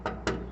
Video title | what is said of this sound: What is this Gravestone??? | a deep, hollow, ringing, almost a ringing sound